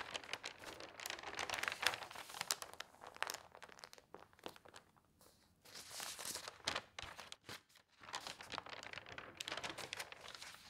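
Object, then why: Newsprint newspaper. Long nails and fingertips rub and scratch across the pages of an open newsprint newspaper spread flat, making bright, dense crinkling and rustling. There are brief quiet pauses before a page is lifted and turned with a crisp papery rustle, and the rubbing continues afterward.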